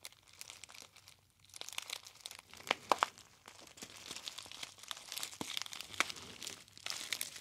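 A hollow gold metallized foil tea bag pouch is squeezed and crinkled with the fingertips of both hands near the ear. Soft, bright, dense crinkling fills the clip, with a few sharper, louder snaps standing out near the three-second and six-second marks. There is almost no low end, and each crackle dies away instantly.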